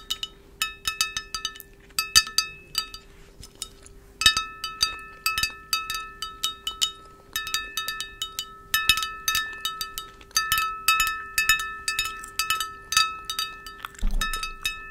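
A large, clear, hollow and empty glass vase with a flared conical shape is held in hand and tapped with long acrylic nails near the mic. Rapid bursts of bright, high-pitched clinks ring with short tones and pause now and then between runs of taps.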